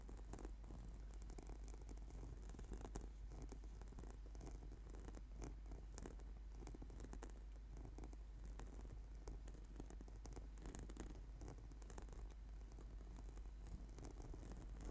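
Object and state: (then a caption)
Foam yoga mat. Fingertips and nails tap and scratch quickly across a flat purple sticky PVC/foam yoga mat. Rapid, dense patter and scratchy rustling continue at a steady, quiet level over a strong low hum.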